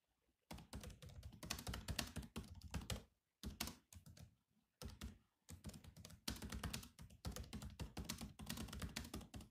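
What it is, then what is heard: Plastic laptop keyboard. Bare fingertips of both hands type fast on the black plastic chiclet keys of a grey laptop keyboard. Bursts of rapid, clicky taps with a dull, low-heavy thud give way to short pauses. Each tap dies away almost at once.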